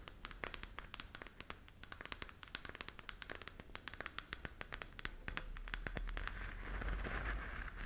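Long nails scratch and tap the textured surface of a glowing, hollow plastic galaxy moon lamp held in both hands. The result is a fast, uneven run of sharp, bright clicks over a low background hum. Toward the end the clicks blur into a louder, steadier hissing rub.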